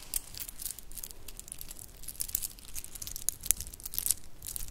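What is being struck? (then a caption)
Shell and bead bracelet with metal spacers. A shell and bead bracelet with metal spacers is rubbed between the hands and scrunched in the palm. It gives a continuous rattling, crinkly jingle of bright, dense clicks, with a few sharper ticks standing out over the steady rustle.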